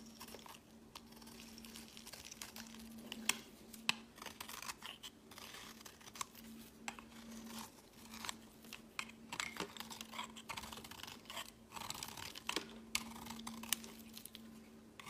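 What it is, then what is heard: Bar soap being shaved. A metal box-cutter blade shaves crumbly flakes off a yellow solid round bar of soap held in the hand. The result is a quiet, continuous run of crisp, bright scraping and crackling crunches with occasional sharper snaps, over a faint steady low hum.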